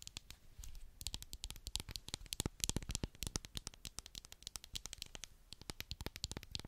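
Long black acrylic nails rapidly tap and scratch the lid and sides of a medium, labeled white plastic clay mask jar with a screw lid, likely full. Dense, irregular streams of dry, bright clicks land over a soft low thud, with brief scratchy stretches between bursts. Each tap dies away almost instantly, with no ringing.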